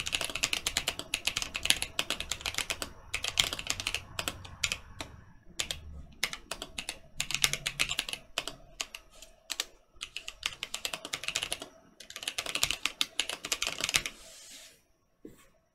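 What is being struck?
Mechanical keyboard with plastic keycaps.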